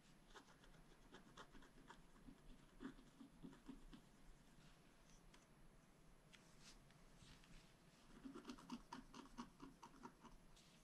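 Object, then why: Scratch art paper card scraped with a wooden stylus. A flat black scratch art paper card, held down by one hand, is scratched with a wooden stylus along its upper area. Quiet, dry scratching strokes rasp across the surface in uneven bursts, with denser, louder scratching near the start and again toward the end.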